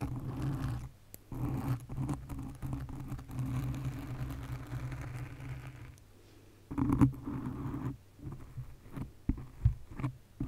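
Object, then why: Foam microphone windscreen. Long nails scratch the sides and top of a black foam windscreen on a condenser mic, making a dense, low, rumbling rustle with soft scrapes. The scratching runs in bursts separated by brief pauses and ends in scattered light taps and swishes.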